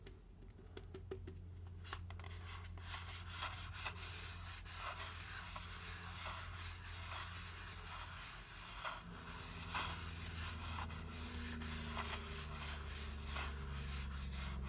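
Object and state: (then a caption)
Foam drink cup being rubbed and scratched. Fingertips slowly rub and scratch along the side and bottom of a large Braum's styrofoam drink cup held in the hands. The result is a soft, continuous squeaky scraping with brief brighter scratchy accents over a steady low hum.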